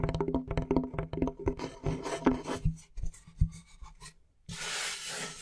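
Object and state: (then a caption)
Plywood board being scratched. Fingernails scratch and rub the surface of a large, flat, light, solid plywood board held in both hands. A quick series of dry, uneven scratches and taps carries a low woody thump. After a brief pause, it turns into a steady, bright, hissing rub.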